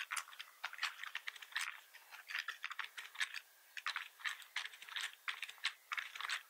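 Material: Plastic.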